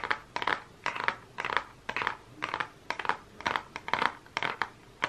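Fingernails tap and scratch the cover of a closed Focallure makeup palette, a small, flat cardboard case with a holographic print. Irregular bursts of dry, crackly tapping and scratching, centred in the midrange with some bright edge, come at a loose rhythm. Each burst is brief and dies away quickly, with almost no low end.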